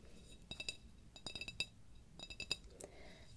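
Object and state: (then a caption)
Glass candle jar. Long red-painted nails tap a clear glass apothecary jar candle, filled with wax and topped with a decorative lid, with a paper "Spell" label, while it is held in the hands. Three quick clusters of light, bright clinks are heard, each tap short and dry with a faint glassy ring near 2.7 kHz and higher.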